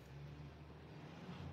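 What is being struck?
Nothing is struck.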